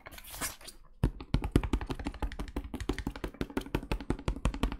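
A medium plastic cleaning-product bottle with a white cap and label, filled with brownish liquid, is rapidly tapped with the fingertips of pink rubber gloves. After a brief bright, hissy rustle in the first second, a quick irregular run of short, dull, low taps follows, each dying away almost at once.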